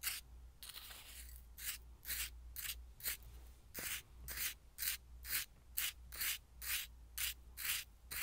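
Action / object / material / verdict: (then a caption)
scrape / coarse salt in a glass bowl stirred with a wooden spoon / salt / none. A wooden spoon stirs and scrapes through coarse white salt in a small clear glass bowl. About 16 rhythmic rasping, granular rubs sound at roughly two per second, bright and hissy with short decays. A faint steady low hum sits underneath.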